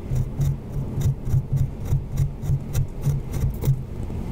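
A thin pointed pick, held in a hand with long nails, scrapes and scratches a solid white, book-sized plaster gem-mining block with painted purple crystals and a "Mine for Gems" logo, with loose plaster dust piled on its surface. Short, gritty rasping strokes repeat at a quick, uneven rhythm of roughly three per second, each a dull, low scratch with almost no ring.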